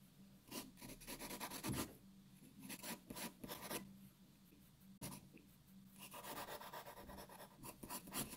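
A graphite pencil draws and shades on a white sheet of paper lying flat on a wooden table, making steady scratching, rubbing strokes. Each stroke comes as a bright, dry rasp in a quiet recording with a faint low hum underneath.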